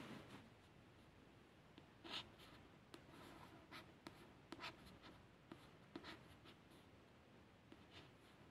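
Quiet, papery scratches come in short bursts with brief sharper ticks, no ringing at all. A fingernail is scraping across the slick card cover of a paperback book; the stiff coated card gives a faint hiss over a steady low room hum.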